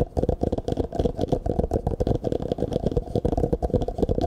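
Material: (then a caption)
Plastic. An empty, hollow clear plastic cup is held sideways near the microphone and then upright while fingertips tap and scratch it quickly. The result is a dense run of short, dry, hollow knocks with a steady low body, a resonant tone around 500 Hz and faint scratchy texture, each tap dying away almost at once.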